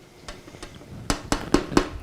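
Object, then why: PC case side panel, tempered glass. Six taps on the tempered glass side panel of an inexpensive PC case (about $39.90): two soft knocks followed by four louder, sharper ones. Each gives a short, glassy tone near 290 Hz that dies away almost immediately.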